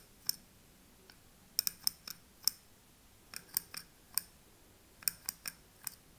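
A thin metal pick taps and scratches the glass rim and front paper label of a small wax-filled glass candle jar. It makes fourteen quiet, crisp, bright clicks in irregular clusters, each dying away almost at once over a faint low hiss.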